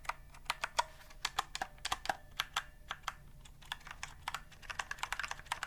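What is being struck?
Typewriter-style keyboard with round plastic keys.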